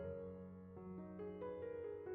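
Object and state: Nothing is struck.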